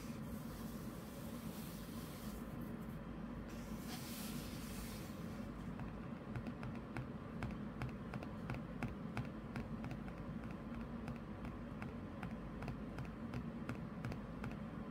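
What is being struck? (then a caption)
Printed paper pages of an open paperback comic book. Fingertips and medium-length nails tap and scratch lightly on the glossy printed paper pages of an open paperback graphic novel lying flat on a cloth desk mat. Quiet, soft taps and brushing scratches land over a steady low hum, with a brighter hissing scratch early on before the taps become regular.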